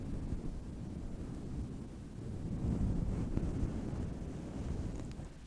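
Long metallic false nails scratch and rub a fluffy grey faux-fur windscreen over a microphone. The result is a muffled, rumbling rustle concentrated in the low end, with almost no high frequencies. It swells louder in the middle and fades toward the end.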